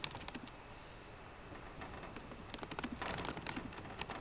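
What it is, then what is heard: Laptop keyboard typing. Both hands type continuously on a MacBook Pro keyboard, fingertips and long painted nails striking plastic keycaps on the hollow aluminium laptop body. Soft, quick, bright clicks and taps patter along with very little ring, growing denser and busier toward the end.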